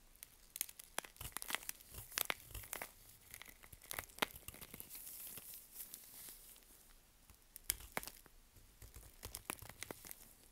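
A gloved hand holds a solid, dry bar of Svoboda "Green Tea" toilet soap while a curved knife scrapes along its edge, shaving off crumbly flakes. The result is quiet, dry crunching and crinkly tearing, with many sharp, bright clicks and crackles. The scrapes come in bursts separated by short pauses, with a steadier scraping stretch in the middle.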